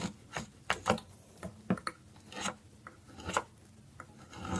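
A small, solid, orange piece of dry soap is held in the hand and scraped repeatedly with a metal carving blade over a pile of shavings. About a dozen short, dry, raspy strokes are heard, each a quick bright scrape with no ring, separated by quiet gaps.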